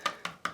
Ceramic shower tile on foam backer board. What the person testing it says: it sounds Hollow because it's foam board